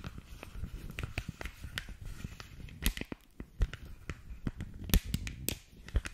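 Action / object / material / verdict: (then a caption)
tap / rolled thin polypropylene sheet protector / polypropylene / none. Long nails tap and scratch along a thin, clear polypropylene punched sheet protector rolled into a tube. The result is a quick, uneven run of dry, crackling clicks and scrapes, heavy in the low end, with sharper bright snaps standing out. Each tap dies away almost instantly.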